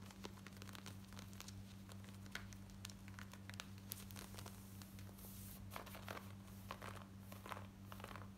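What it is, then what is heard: Denim jeans being scratched. Long nails scratch light grey cotton denim jeans worn on the body, first along the leg hem and then at the waistband near the metal button. The result is a quiet run of fast, dry, rasping scratches with crisp high edges, heard over a steady low hum.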